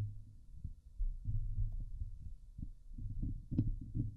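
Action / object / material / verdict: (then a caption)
scrape / steel mesh microphone grille scratched with fingernails / steel mesh / none. Both hands scratch the hollow woven steel mesh dome grille of a Blue Yeti microphone with long, glittery painted nails. The scratching comes through as dense, muffled, low rumbling thumps in irregular bursts, with a few faint brighter scrapes breaking through.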